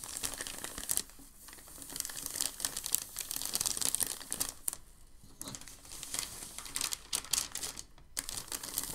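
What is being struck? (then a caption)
Thin packing paper sheet. A large, thin sheet of crumpled packing paper is handled and flattened while fingertips rub across it. Dense, bright crinkling and crackling fill the clip, broken by brief quieter lulls between bursts of handling.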